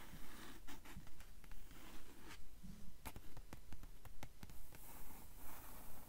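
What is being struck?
Paper book pages tapped and scratched with fingernails.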